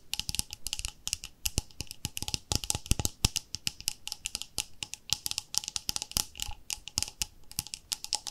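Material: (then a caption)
Plastic. Long nails tap rapidly on the lid and sides of a round, palm-sized white plastic cream jar with a pink label. The result is a fast, irregular run of sharp, dry clicks that are bright and crisp with almost no ring. A faint low thud sits under each tap.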